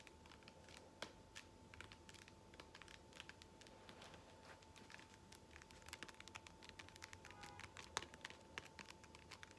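Long fingernails scratch and tap the textured surface of a blue ridged foam massage roller held close up, making a quiet, dense stream of crisp clicks and light scratches. A faint steady tone near 940 Hz hums underneath, and the taps stay short and dry with a few sharper accents.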